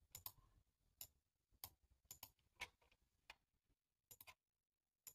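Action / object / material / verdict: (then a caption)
tap / plastic computer keyboard / plastic / none. One hand types with its fingertips on a black, low-profile plastic computer keyboard with a hollow body, resting on a table. Sharp, bright key taps come in uneven bursts and single clicks with brief pauses between them. Each tap is quiet and dies away almost at once, with little low-end thump.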